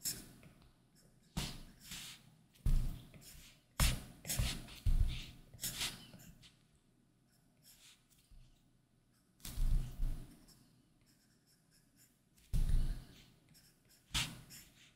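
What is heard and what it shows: A plastic Apple Pencil tip scratches drawing strokes across a large iPad Pro held by hand, its solid glass screen covered with a matte plastic screen protector. Eleven separate short, raspy scratching bursts are heard, each with a dull low thump and a bright hiss, fading quickly into quiet gaps.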